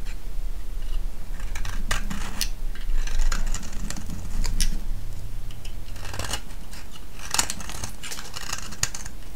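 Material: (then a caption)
Soap. A solid green vintage soap bar held in the hand is shaved and scraped with a metal blade. Quick, crisp scraping strokes come in an irregular, steady run, with bright flaky crackles over a low, constant hum.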